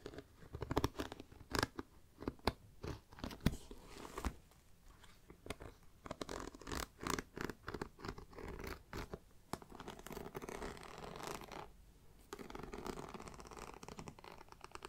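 Long black nails scratch the grained top and side of a hollow black pebbled faux leather mini backpack close to the mic. Dense bursts of dry, rasping scratches come in quick irregular clusters with short pauses between them, with brief sharper peaks standing out.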